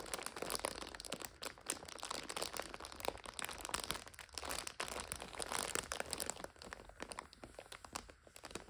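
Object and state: Plastic instant noodle multipack.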